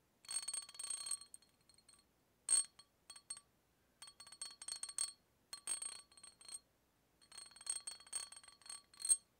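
A hollow brown glass beer bottle, held horizontally near the microphone, has its neck tapped repeatedly with a small metal tool held in the fingers. It gives bright, bell-like clinks in quick bursts separated by short pauses, each clink dying away almost at once.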